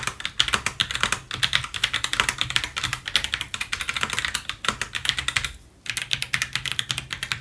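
Gloved fingertips type rapidly on a full-size white Roccat Vulcan 122 AIMO mechanical gaming keyboard with plastic keycaps on a brushed aluminium top plate and a white plastic wrist rest, lying flat on a white table, then one hand presses keys on the right side. A dense run of bright, sharp plastic clicks and clacks with very short decay, with a brief pause just before the final stretch of typing.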